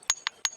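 A similar-looking flat river stone is tapped three times for comparison, each tap a short, bright click that dies away almost at once. The sound is duller than the ringing, iron-like stone it is compared against, as expected for an ordinary stone.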